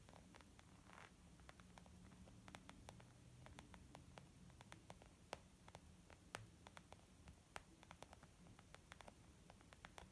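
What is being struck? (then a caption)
Small leather zip makeup bag. Long nails tap rapidly and irregularly on a small white textured leather zip makeup bag lying flat, soft and hollow. Each tap is a short, dry, bright click that dies away at once, over a steady low hiss and rumble.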